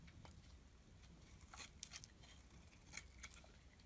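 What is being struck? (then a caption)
Bar of soap scraped by a metal blade. A metal blade repeatedly scrapes across the surface of a solid black and white striped bar of soap held in the hand. It makes quiet, short, bright scraping crackles over a low, steady rumble, with the louder strokes near the middle and end.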